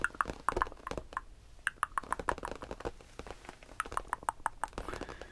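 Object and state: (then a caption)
Faux leather bench top. Fingers tap and lightly scratch the faux leather top of a cheap bench used for storing blankets. A quick, irregular series of short, dry, close taps carries a faint mid-pitched ring, with brief bright clicks and soft scratchy rustling between them. The taps die away almost instantly, giving a muted, padded sound.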